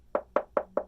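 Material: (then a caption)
Concrete. Four knocks on a layer of concrete facing over a basement block foundation wall give short, hollow-sounding taps centered near 600 Hz that die away quickly. The concrete proves to be hollow, just sitting over the block wall and hiding it.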